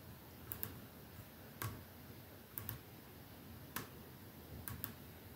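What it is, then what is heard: Glass perfume bottle. Fingertips tap slowly on a perfume bottle, some taps landing in quick pairs. Each is a short, bright click with almost no ring, over a soft, steady low hiss.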